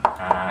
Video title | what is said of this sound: “I Explored an Abandoned House… They Say It’s Haunted” | kalau kita ketuk seperti ini sudah kelihatan nih kalau ini kopong